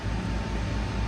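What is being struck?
Nothing is struck.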